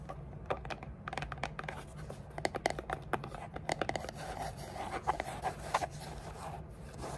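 Long dark polished nails tap and scratch the sides of a small, hollow, dark grey textured cardboard gift box with a lid, made of rigid paper-covered card and resting on a table. Quick, dry clicks land over a continuous scratchy rustle, each tap giving a short, hollow, papery knock around 700 Hz that dies away almost at once. A low steady hum runs underneath.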